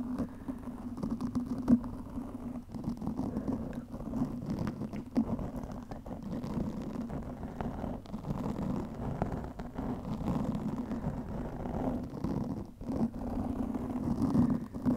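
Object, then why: Foam microphone windscreen. Long nails scratch across the top of a black foam windscreen over a microphone. The result is a continuous, muffled scratching and rustling with a dull, low-pitched rumble and almost no high frequencies. Brief louder scrapes stand out now and then against the steady texture.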